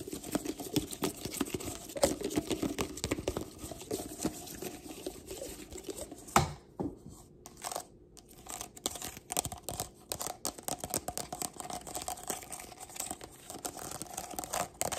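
Long black nails tap and scratch the ridged plastic of a hollow, empty stack of pink heart-print plastic party cups. The result is a dense, crinkly stream of quick clicks and scrapes with a hollow mid-range tone, a sharp louder tap near the middle, and a brief quieter stretch before the tapping picks back up.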